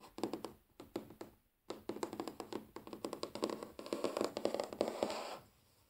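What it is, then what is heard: Wooden table. Natural fingernails tap and scratch across a large, solid wooden tabletop, mostly with one hand while the other is sometimes raised. Quick, dry, mid-pitched taps die out almost instantly over a faint scratchy texture, with a brief silence early on. A denser, steadier run of tapping follows and then stops, leaving only a low hiss.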